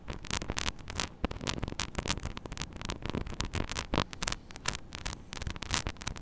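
Long acrylic nails scratch and tap the grille of a small, hollow metal mesh mini microphone head on a clip stand. Dense, rapid bursts of crisp scraping and sharp, bright clicks ride over a steady low rumble, each tap dying out almost instantly with no ring.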